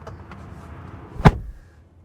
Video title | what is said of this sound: 😱 Exclusive! 2025 Rivian R1S: A Most Fortunately Unfortunate Review | it doesn't sound as substantial